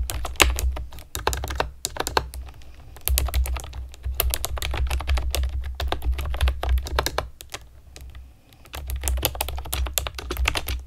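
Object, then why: Plastic keyboard with round keycaps. A pastel plastic keyboard with round keycaps is typed on with long nails and fingertips, making rapid, uneven bursts of sharp, bright clicks and taps. The clicks sit over a steady low hum, with brief lulls near 2 seconds and between about 7.5 and 8.5 seconds.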